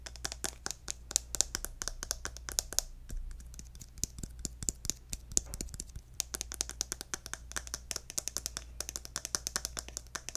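A hollow pink plastic lotion tube with a gold cap is tapped and scratched with fingernails, including on the cap. Rapid, crisp, bright clicks and taps with almost no ring are heard throughout, with light scratchy textures between them, over a faint steady low hum. The pace thins briefly in the middle before the tapping picks up again.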